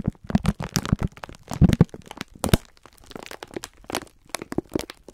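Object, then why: Sponge scourers in plastic film wrapper. A full pack of sponge scourers in clear plastic film is squeezed with both hands while fingertips rub the wrapper. Dense bursts of crinkling and crunching crackle through the clip, with soft low thumps under the sharp, quick-fading plastic snaps.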